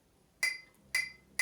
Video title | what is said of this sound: Reselling on eBay UK: Car boot sale haul 11/07/20. £69 spent, estimated sales value £600 | with glass, a very dull noise, and you can immediately hear the difference